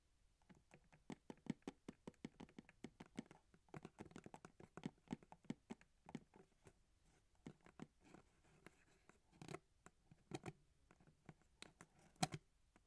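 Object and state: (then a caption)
Printed cardboard box. Long acrylic nails tap and scratch the front face of a medium printed cardboard product box, the packaging for a typewriter music box, likely full and standing on a felt mat. Quick, dry, low-pitched taps come in dense irregular bursts with soft scratchy rustles between them. Each tap dies away almost instantly.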